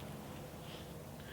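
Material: Nothing is struck.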